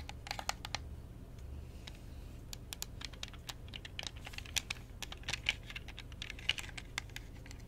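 A hollow, transparent plastic Xbox 360 controller with purple LEDs, held in one hand, is tapped and clicked with long painted fingernails on its buttons and shell. Quick, dry, bright clicks and taps come in irregular bursts over a quiet, steady low hum, each one stopping almost instantly.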